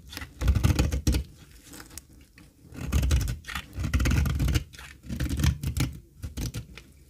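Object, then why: Olive oil soap bar scraped with a metal blade. A thin, dry cream olive oil soap bar held in the palm is scraped with a metal blade, giving bursts of crumbly, gritty scraping and shaving sounds. The sound is mostly low and thuddy with short, dry detail and little ring, arriving in several louder passes separated by quieter moments.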